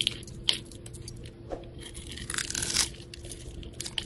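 A metal utility blade scrapes and shaves the pre-scored grid surface of a solid, rectangular, multicolored soap bar with a glitter coating, held in hand. Bright, dry crunching and scratchy scraping come through in short bursts over a faint low hum, with a few sharper crackles standing out.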